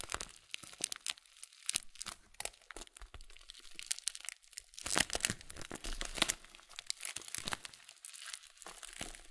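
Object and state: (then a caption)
Full plastic bag of oat flakes, crinkled. A full blue Kölln oat flakes bag, made of plastic, is held horizontally and then upright while fingers squeeze and crinkle it. Dense, bright crinkling and sharp crackles come in rapid bursts with almost no ring and little low end. The crunching grows louder and busier around the middle before settling back to softer crinkles.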